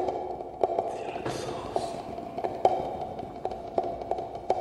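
A small, empty, hollow clear acrylic cube display case with a dark base is held in both hands and tapped with fingertips and nails. Irregular, quiet taps give short hollow plastic clicks with a mid-pitched tone that dies almost at once. A soft brushing hiss runs beneath them.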